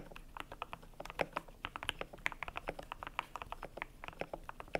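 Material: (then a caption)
PBT plastic. Fingertips type on a cream compact mechanical keyboard with PBT plastic keycaps, producing a steady run of about thirty short, dry clacks at an uneven pace. Each keystroke is a crisp mid-range tap with a bright top and almost no ring, a few landing noticeably louder than the rest.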